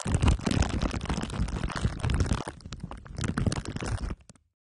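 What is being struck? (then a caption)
Microphone wrapped in aluminium foil and plastic wrap. Two glue sticks are rubbed over the top of a microphone whose head is wrapped in crumpled aluminium foil under clear plastic wrap. The result is a dense, low, rumbling crackle with sticky crinkling, which eases briefly in the middle, swells again and then stops abruptly.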